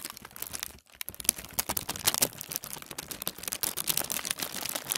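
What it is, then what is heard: Thin tissue paper being crinkled. A large crinkled sheet of thin tissue paper is rubbed and gathered with both hands on a wooden table. It makes dense, bright crinkling and rustling full of quick crackles, with a brief quiet gap just before the first second. The sound is mostly high-pitched with almost no low end.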